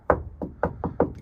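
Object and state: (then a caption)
Solid fiberglass boat floor. Five sharp knocks on the fiberglass floor of a boat with an OMC 5.8L 400 HP High Performance Series motor. Each knock gives a short, dry, mid-pitched thud that dies away almost at once. The floor sounds solid rather than compromised.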